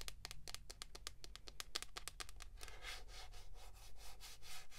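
Long pink nails tap rapidly on the hollow back of a hand-sized, mint green plastic paddle hairbrush with a pineapple print, making a quick run of sharp, bright clicks. After about halfway, the tapping turns into softer, hissy scratching strokes across the same plastic back. A steady low hum runs beneath the quiet sounds throughout.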